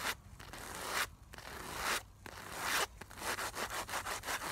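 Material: Nylon fabric.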